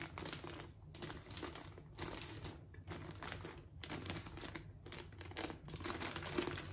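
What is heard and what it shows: Fingertips and long nails of both hands press, scratch and crinkle a clear plastic film bag holding several soft, solid orange foam grout sponges resting on a plate. Bursts of bright, dense crackling rise and fall in clusters over a steady low hum, with short gaps of quiet between them.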